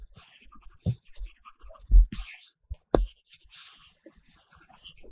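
A pink-cased Apple Pencil tip strokes across the matte paper-texture film on a large iPad Pro glass screen while colouring. The result is soft, dry scratching and drawing sounds broken by several low, dull taps.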